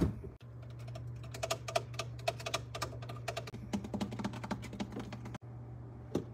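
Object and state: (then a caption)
Refrigerator tapping. Fingers tap rapidly and lightly on a refrigerator for ASMR, making quick, dry, typing-like clicks with a bright edge. A steady low hum runs underneath and cuts out briefly a few times.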